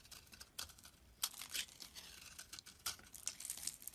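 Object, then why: Bar of soap. A utility knife shaves layered flakes off the end of a solid rectangular beige soap bar held in the hand. Quiet, dry, crisp scraping and crinkling bursts are heard, almost entirely high and bright with very little low end. A few stronger strokes stand out among softer, irregular shavings.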